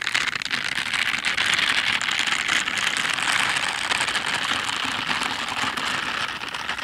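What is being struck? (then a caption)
Silicone dish gloves with bristle pads. Pink silicone dish gloves with bristle pads, worn on both hands, are rubbed together palm to palm and along the fingers close to the recorder. The result is a steady, dense, bright scratching and crackling texture with almost no low end, holding at an even level for the whole clip.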